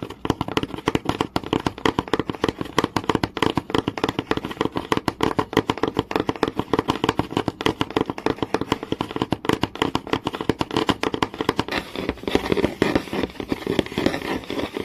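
Fingernails and fingertips tap and scratch across the grain of a flat, solid wooden board in rapid, continuous strokes. The clicks are dense and crisp, with short dry decay. Near the end the sound turns scratchier and more sustained.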